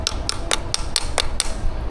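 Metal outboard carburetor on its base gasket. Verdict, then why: Hollow. Light taps on the metal carburetor of a 40-year-old Mercury 150 HP Black Max outboard, after its four nuts, fuel line and linkage are removed. Seven short, sharp clicks ring briefly and hollow, a sign the carburetor's seal to its base has broken free. When the carburetor comes off, the base gasket turns out to be torn.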